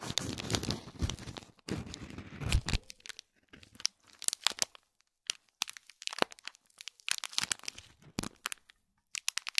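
Fingernails scratch and press the crinkly plastic film around a small gold foil-wrapped gift box. Dense crinkling and tearing-like rustles in the first three seconds give way to many sharp, bright crackles separated by short silences.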